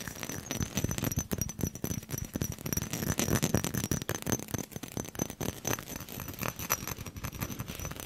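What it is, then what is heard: Glass perfume bottle tapped and scratched. A small faceted glass perfume bottle with a gold metal cap and a textured surface is held close to the microphone and tapped and scratched all around with fingernails. A rapid, continuous stream of short clicks and scrapes follows, with no ringing between them, over a thin steady high tone.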